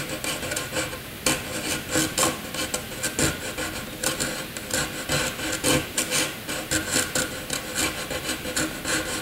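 A graphite pencil scratches angular scribbles across a sheet of white paper. The result is a steady run of bright, raspy scratching strokes that swell and fade in quick bursts.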